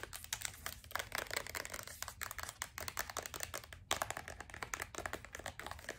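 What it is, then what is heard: Plastic lotion bottle. Long acrylic nails tap and scratch fast on a medium-sized white plastic lotion bottle with a gold band and white cap that appears full. The result is a dense, steady stream of crisp, bright clicks and scratchy rasps with almost no ring, over a faint low background hum.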